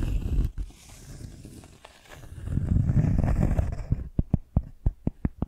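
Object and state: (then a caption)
Cork coaster. Long nails scratch across the surface and edge of a round, rimmed cork coaster held in the hand, making a low, rough, swelling scrape for about four seconds. It ends in a run of short, sharp clicking taps.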